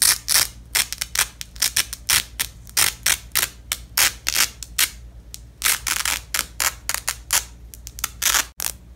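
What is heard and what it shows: A gloved hand repeatedly pulls apart the halves of a purple nylon hook-and-loop strip on red cloth, producing a rapid series of short, bright, ratcheting rips. Each burst is crisp and high-pitched, with quick decay, separated by brief pauses over a faint low background hum.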